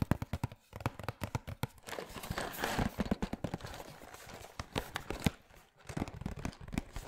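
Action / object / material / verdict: tap / small printed cardboard box / cardboard / none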